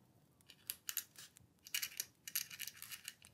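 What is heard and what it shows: A dip pen or quill nib scratches across a thin, flat paper letter sheet resting on a wooden table while writing continuously. It makes quiet, bright, scratchy strokes in short bursts with almost no low end and very little ring after each stroke.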